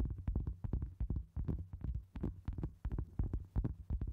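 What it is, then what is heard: Cork board. Long acrylic nails tap and scratch a round, solid cork board resting on a microphone in a steady rhythm. The result is a quick run of deep, muffled thumps, almost entirely low in pitch, over a faint low hum. Short brighter scratchy edges sit on some of the hits, and each thud dies away almost at once.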